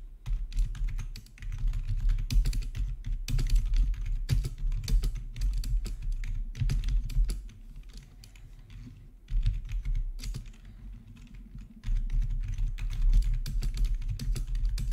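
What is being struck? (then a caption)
Plastic membrane keyboard. Both hands type with their fingertips on a plastic RGB membrane keyboard with black backlit plastic keycaps, resting on a marble surface. The result is a steady, fast stream of soft, dull key clacks with a deep thuddy body. Two quieter, lighter stretches come at about 7.5–9 s and 10.5–12 s before the typing picks up again.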